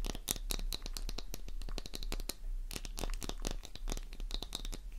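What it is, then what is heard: Soap bar scratched with nails. A solid pink soap bar covered in crosshatched scratch marks is scratched rapidly with long nails, sending flakes flying. The sound is a dense, uneven run of crisp, bright scratching clicks and scrapes that stop almost instantly, over a steady low hum.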